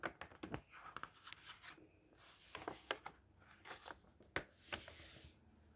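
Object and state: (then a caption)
Paper pages of a book being turned. A palm strokes across a printed paper page of a thick hardcover book, then fingers grab and flip the pages over. Soft, hissy brushing and rustling alternate with crisp, bright crinkles and sharp paper snaps as each page turns. The sounds are quiet and close, dying away almost instantly.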